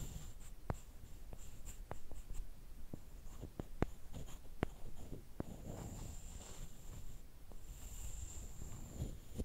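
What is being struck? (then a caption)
Small wooden stick on a wooden slat. A small solid wooden stick, held in fingertips with long painted nails, is scraped and tapped on a flat wooden slat. Quiet, dry scraping runs under a scattering of sharp, short clicks that die away instantly, over a soft low rumble and a faint high hiss.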